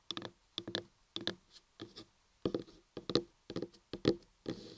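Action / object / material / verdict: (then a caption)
scrape / carved laundry soap block / soap / none. Long manicured nails and fingertips scratch and tap the top surface of a solid, cream-colored, hand-sized block of laundry soap carved into a human ear, resting on a table. Short, dry bursts of tapping and scratching come in quick clusters, with a soft low-mid body and a bright, crisp edge. Each burst stops almost at once with no ring.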